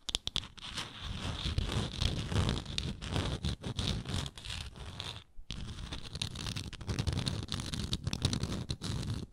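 Long nails scratch along the surface of a round, textured wooden lid on a frosted glass jar. The result is dense, continuous rasping with a heavy low rumble and a bright hiss on top. There is a brief silent break about halfway through before the scratching resumes.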